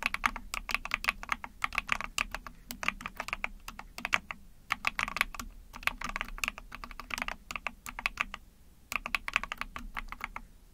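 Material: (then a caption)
Plastic. Long painted nails and fingertips type rapid key presses on an Epomaker TH40, a small backlit 44-key mechanical keyboard with an ABS plastic case, a PC plate and pink and white keycaps. Bright, short plastic clacks with almost no ring come in quick bursts, broken by brief pauses.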